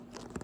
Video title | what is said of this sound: ASMR Soft Spoken Book Haul (Tapping, Scratching) | It has like a soft cover which has a different sound to it when you're tapping and scratching and things like that. It's like that smooth texture.